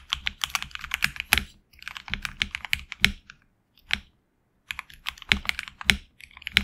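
A HyperX Alloy Origins Core tenkeyless mechanical keyboard with HX Red switches, PBT plastic keycaps on an aluminum plate and a hollow case, is typed on with the fingertips of both hands. Bursts of crisp, bright, clacky keystrokes come in quick runs, with short pauses between them and a near-silent gap in the middle. Each click is sharp and dies away almost at once.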